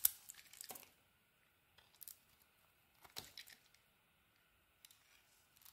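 A utility knife blade carves into a solid pink bar of soap, peeling off curls. Quiet, bright, crisp scraping and shaving comes in several short bursts, separated by near silence.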